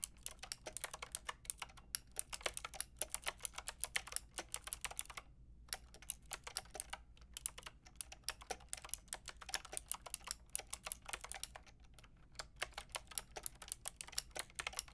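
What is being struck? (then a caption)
Plastic mechanical keyboard with round keycaps. Fingertips and long nails type steadily on a full-size pink, grey and white mechanical keyboard with round plastic keycaps, producing a dense stream of sharp, bright clicks and clacks. The typing pauses briefly around the middle before resuming at the same quick pace.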